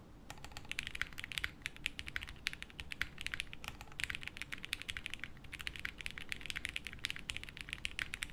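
A 60% mechanical keyboard with beige doubleshot plastic keycaps, a light case and no plate, resting on a felt desk mat, is typed on continuously with the fingertips of both hands. The result is a steady stream of quick, bright, clacky keystrokes with very short decay over a soft low rumble.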